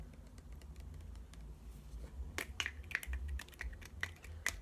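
A small hollow pink plastic detangler spray bottle with a green nozzle cap is held in one hand and tapped on its body and cap with the fingertips and nails of the other hand. Faint soft taps give way to a run of sharper, clicky plastic taps with a bright, hollow ping around 2 kHz, each dying away almost instantly over a low background rumble.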